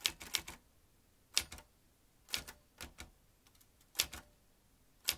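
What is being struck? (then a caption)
Metal manual typewriter. A vintage metal manual typewriter with rows of round keys and typebars is typed on steadily with the fingertips. Bright, sharp clacks of the keys and typebars sound in small clusters with short quiet gaps between them, each strike dying away almost instantly.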